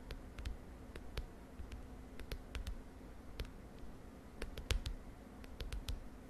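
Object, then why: Plastic front cover of a spiral notebook. Long dark nails tap the lilac plastic front cover of a large spiral notebook lying on a bed. Quiet, sharp, bright clicks come in an irregular, scattered series, each dying away almost at once, over a soft low background rumble.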